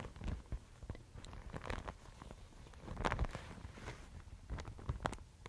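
A thin, fibrous Thai mulberry paper sheet is held in both hands, crumpled, and rubbed with fingertips and long nails. This makes a quiet, soft crinkling and rustling, broken by irregular short crackles and scratchy flicks. The crackles swell to a busier peak in the middle before settling back into gentle rubbing.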